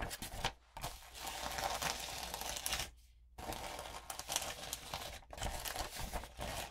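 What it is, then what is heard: Glitter-coated paper sheet. Long nails and fingertips scratch a sheet of lined notebook paper thickly coated with gold and pink glitter, lying on other sheets, while a palm rubs across it. The result is a dense, bright, gritty crinkling and scratching that runs in bursts, broken by brief quiet gaps, including a longer pause around the middle.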